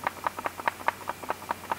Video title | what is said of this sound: 佳能EOS R5开箱发现重大问题！机身晃动有异响！ | 它这个5级防抖，你必须要把这个电池拔下来，它才能完全的失效